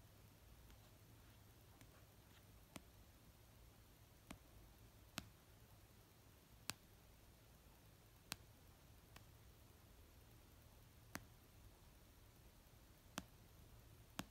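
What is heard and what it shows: Slow, sparse taps of a nail and fingertip on an orange paperback novel, solid paper, resting on a blanket. About ten short, dry clicks with almost no ring are spaced unevenly over a quiet, low hum.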